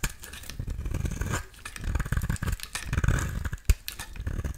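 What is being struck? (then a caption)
Bar soap. A solid pink bar of soap is scraped with a metal utility-knife blade, and flakes fall away. Dense, rapid, gritty scraping strokes run throughout, heavy in low-end rumble, with a sharp louder scrape near the end.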